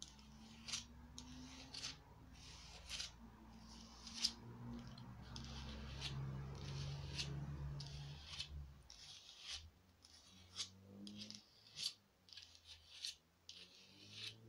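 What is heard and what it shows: Long nails scratch and rub across the textured surface of a small glittery foam craft pumpkin. They make a series of irregular, bright, crackly scratches over a steady low hum. The hum fades about two-thirds of the way through, leaving sharper isolated scrapes.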